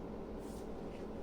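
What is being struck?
Nothing is struck.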